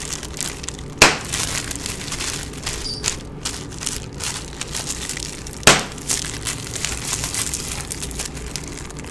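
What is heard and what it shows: A sheet of clear plastic bubble wrap with air-filled bubbles is held in both hands while fingertips squeeze and pop individual bubbles. The sheet crinkles with a steady bright rustle, broken by two sharp loud pops.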